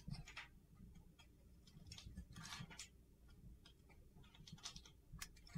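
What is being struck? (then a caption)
Soap bar. A utility knife blade scrapes the blue glitter coating off a solid white soap bar held in the hand, peeling it away in curled shavings. Short, gritty, crackling scrapes with bright, crisp edges repeat over a low, steady rumble, each dying away quickly.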